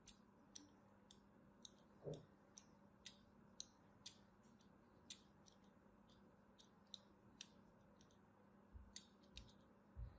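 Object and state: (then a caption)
Bar of soap being scratched. A thin metal needle-blade scratches lines into the surface of a solid purple and white striped soap bar held in the hand. About 18 short, crisp, bright scratching clicks are spread across the clip, with a duller thump near the two-second mark and another at the end. A faint low hum runs steadily underneath.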